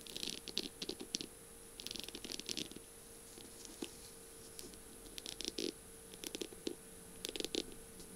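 Long pink-painted nails tap and scratch along a slim, hollow-looking pen barrel covered in small beads and mirror squares, with pink feathers at the top, lying on a flower-print surface. Quiet bursts of bright, crisp clicking and scratching come in short clusters separated by pauses. A faint steady hum runs underneath throughout.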